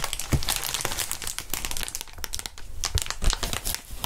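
Gloved hands squeeze and flex a large clear plastic air column cushion wrap, a packaging sheet of hollow, inflated air tubes. Dense, continuous crinkling and crackling with bright, sharp clicks is heard over dull low thumps as the air-filled tubes are pressed and bent.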